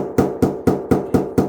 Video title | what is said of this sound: 사전점검 셀프 ㅣ 절대 놓치면 안 될 아파트 셀프 사전점검 꿀팁 꼭 알아가세요 | 이렇게 잘 채워져 있는 부분은 이런 소리가 나고, 여기는 이렇게 빈 소리가 나요